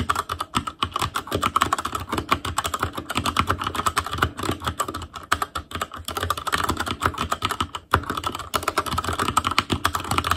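A full-size ASUS ROG Claymore Core mechanical keyboard, with plastic keycaps on Cherry MX Red switches, a metal plate, a hollow case and RGB backlight, is typed on rapidly with the fingertips of both hands. The result is a dense, continuous stream of short, crisp key clacks with a low hollow thud under each press and brief pauses between bursts.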